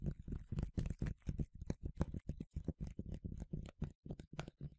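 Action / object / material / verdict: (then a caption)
tap / plastic spray bottle / plastic / none. A medium yellow plastic sunscreen spray bottle, hollow and partly filled, is tapped quickly with fingertips and nails. About thirty short, dull, low thuds come in a fast, uneven rhythm, each dying away almost at once with little brightness.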